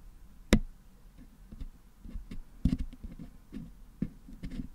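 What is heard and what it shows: A wooden toothpick picks and scratches red and blue putty out of the hollow metal mesh dome of a Blue Yeti microphone head held in one hand. Soft, low, close scraping and picking runs throughout, with three louder, sharp, dry clicks standing out at irregular intervals and dying away almost immediately.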